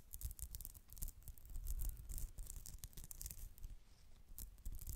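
Long acrylic nails rapidly scratch a white polyester mesh pouch held close to the mic. The result is a dense run of bright, crackly scratching bursts over a steady low rumble from handling near the mic.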